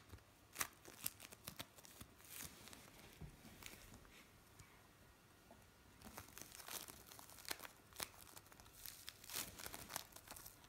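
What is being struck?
Lump of bead play foam on a metal tray.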